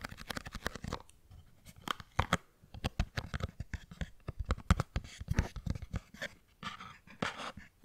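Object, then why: Small cardboard box. A small, hollow, printed cardboard product box is held upright by the microphone and tapped and scratched with the fingernails. Dull, low, hollow taps come in quick irregular bursts with brief pauses, mixed with dry scratching.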